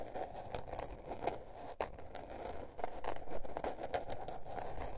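Long nails scratch and tap the blue patterned paper cover of a small spiral-bound notebook resting on fur. Dry, papery scratching strokes mix with quick, sharp taps at an uneven pace over a soft low rumble.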